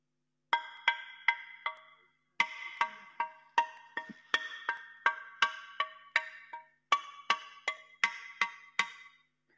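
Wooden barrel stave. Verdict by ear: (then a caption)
Sound. A good wooden barrel stave is struck 21 times in three runs, producing bright, woody knocks with clear ringing overtones around 2 kHz. The stave rings as a good stave should.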